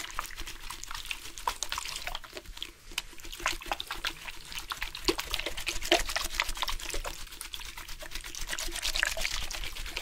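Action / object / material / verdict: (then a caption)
shake / plastic drink bottle with water / plastic / none. A plastic drink bottle with water inside is shaken on purpose, making the water slosh and splash around. Rapid, crisp liquid clicks and splashes run steadily throughout the clip over a quiet, low background.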